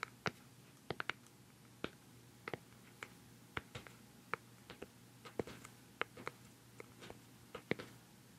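Fingertips and nails tap the top of a hollow, palm-sized round white plastic cosmetic pad jar with a black lid, close to the mic. About 25 short, dry, bright clicks come in an irregular rhythm, each dying away at once, over a quiet background with a faint low hum.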